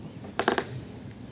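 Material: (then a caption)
Concrete. A patched concrete floor on a subway station platform is struck three times in quick succession. Each hit gives a short, dull, hollow-sounding knock with little ring. The patch sounds hollow underneath and looks like it was put down in a rush without being levelled, though this is not confirmed by opening it.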